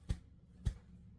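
A freshly baked apple nut cake, after 90 minutes in a metal bundt pan, is knocked in its pan to check that it has come loose. Two dull, low thumps sound about half a second apart, each dying away almost at once. The cake is loose and ready to come right out onto a cake plate.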